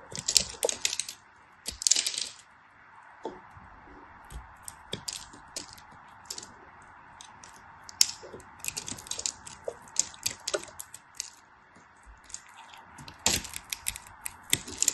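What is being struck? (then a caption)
Glycerin soap bar cut with a craft knife. A small, solid, translucent pink glycerin soap piece is held in the fingers and carved and scraped with a black craft knife. Many quick, crisp, bright cuts and scrapes follow in dense bursts, each dying away almost instantly over a faint steady hiss.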